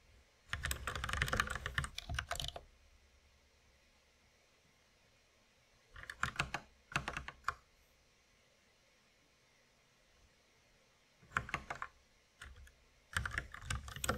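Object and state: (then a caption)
Plastic mechanical keyboard. A white compact mechanical keyboard with plastic keycaps and a red accent key rests on a wooden desk while both hands tap its keys with the fingertips. Bursts of crisp, bright clacking keystrokes come in uneven flurries separated by quiet pauses. The keyboard is presented as not sounding normal.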